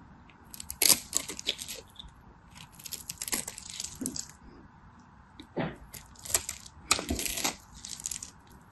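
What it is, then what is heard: Dry bar soap being cut. A craft knife cuts and scrapes a solid, dry bar of purple and white striped soap into flakes. Crisp, bright crackling and scraping bursts come in several clusters over a faint, steady background hum.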